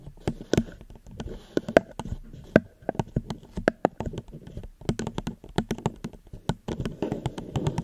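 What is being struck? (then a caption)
Plastic cup. Fingers gently tap a plastic cup close to the microphone in an irregular stream of quick, dry taps. Each tap is short with almost no ring, giving a light hollow tone around 640 Hz with soft low thumps underneath.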